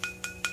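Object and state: Hardened jaggery syrup ball, syrup at hard stage.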